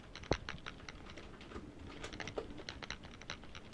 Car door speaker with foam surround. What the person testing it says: you shake it makes a bad rattling sound that tells you it's bad which of course it's rattling because there's no there's nothing to keep it from rattling